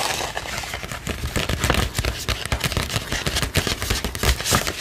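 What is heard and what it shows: Long pink nails scratch and tap the surface of a medium-sized pink glitter-printed paper gift bag with ribbon handles that appears empty. The result is a dense, continuous crackling, crinkling scratch with sharp taps scattered throughout.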